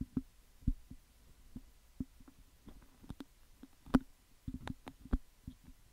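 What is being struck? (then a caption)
Metal mesh microphone grille. Fingertips and nails pick and scratch at the hollow metal mesh grille of a handheld cylindrical condenser microphone with a metal body, held in the other hand. The result is irregular, close, dry thumps and clicks with a low, boomy resonance and occasional brighter crackles, each dying away almost instantly over a quiet background.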